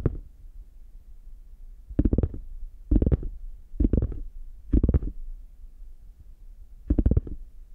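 A brown, chocolate-bar-shaped hard shell case with a faux leather covering is held closed in both hands while fingertips and nails tap and scratch its front. Short clusters of dull, low, quick taps and scratches come in bursts roughly a second apart, with pauses and a faint low hum between them.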